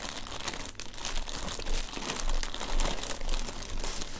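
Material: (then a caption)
Paper. Thin pink-printed tissue paper lying flat over the contents of an open cardboard gift box is pressed, rubbed and crinkled by fingertips with painted nails while both hands rest flat on it. A steady, dense crinkling and rustling fills the clip, bright and papery, with small swells in loudness as the fingers work the sheet.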